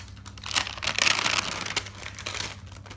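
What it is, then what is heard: Paper notebook pages being turned. Fingers grab and turn over the pages of a thick bound notebook of white paper resting on a wooden table. Bright, dry paper rustling and crinkling rise in bursts, loudest around the first second and again near 1.8 seconds, over a faint low hum.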